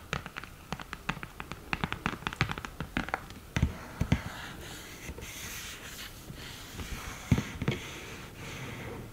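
Long nails tap the lid and edges of a flat cream cardboard eyeshadow palette, opened with a mirror in the lid. A quick run of sharp, dry, short clicks comes first, then quieter scratchy brushing, with a few louder taps near the end.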